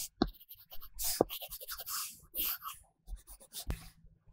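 An Apple Pencil in a pink silicone case scratches and strokes across an iPad glass screen fitted with a flat, solid matte paper-like film while colouring. Dry, papery scratching is broken by sharp taps of the tip, with bright hiss on the quick strokes and short, dull knocks.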